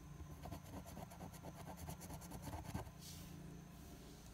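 A large coin scratches the latex coating off the Game 1 area of a flat paper lottery scratch-off ticket held down by one hand. Rapid, rhythmic scraping strokes rasp over a low, rumbling background for about three seconds. The scratching then stops, leaving a steady, faint bright hiss.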